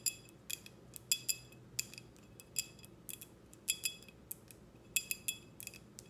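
Long red nails tap a clear, empty, short drinking glass with a logo, held close, giving 17 brief, bright clinks in an irregular rhythm. Each tap rings at about 3.4 kHz with high overtones and dies away almost at once, leaving quiet gaps between taps.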